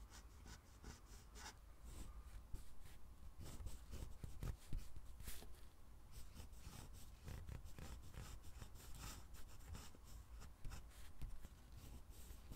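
A black fountain pen with a steel nib writes cursive lines in green ink on a lined paper pad lying flat on a table. Many short, scratchy strokes and rubs across the paper come through as soft, dry bursts over a low rumbling background.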